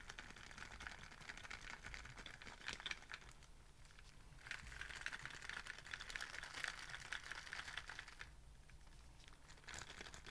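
A hollow white Starbucks-style reusable plastic cold cup with a lid and straw, held in one hand, is tapped with fingertips and nails. Soft, rapid, bright clicks and crinkly taps come in dense bursts that swell and ease off. Each tap is short and dry with almost no ring.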